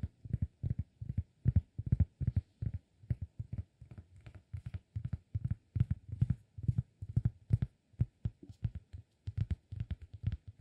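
Fingertips tap the surface of a round, flat, solid cork disk held in the other hand. The taps come in quick clusters of soft, dull, low thuds that stop almost instantly with no ring.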